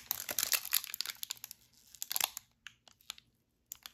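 A full, sealed red plastic-foil wrapper of a Tim Hortons double chocolate granola bar is held in both gloved hands and crinkled and squeezed with the fingers. Dense, bright, crisp crackling fills the first two and a half seconds, then thins to scattered sharp crinkles separated by brief silences.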